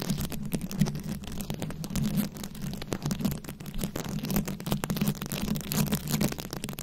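Very long acrylic nails scratch and tap a round, fist-sized microphone head covered in plastic rhinestones and beads. The result is a dense, continuous stream of quick clicks and rasping scratches over a steady low hum centered near 200 Hz.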